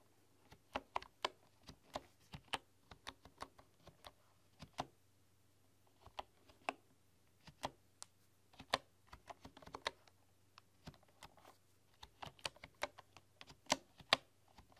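Fingertips and long nails type on a full-size bamboo computer keyboard with wooden keys, making sharp, bright clicks and taps in irregular bursts. Each tap dies away almost instantly over a quiet, steady low hum.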